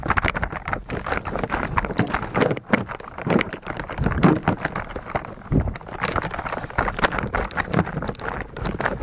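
Fingertips of both hands repeatedly press the plastic keycaps of a white mechanical keyboard coated in thick translucent blue slime. The result is a dense, steady stream of soft, muffled clacks mixed with wet, sticky squelches, weighted toward the low end with little high brightness.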